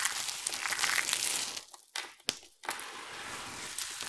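Hands with long nails squeeze a handful of dry, colorful soap chips from a heap, then rake and rub through the pile with their fingertips. A dense, bright crinkling crunch fills the opening, drops to near silence broken by a few sharp crackles, then returns as a steadier, softer rustle.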